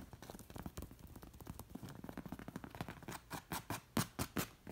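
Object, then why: Stuffed cushion covered in cowhide with leather lacing. Long nails scratch and tap a stuffed cowhide pillow covered in hide with black leather lacing and straps. A quick, dense run of soft scratches gives way to slower, distinct taps that grow louder toward the end, each dry and short with little ring.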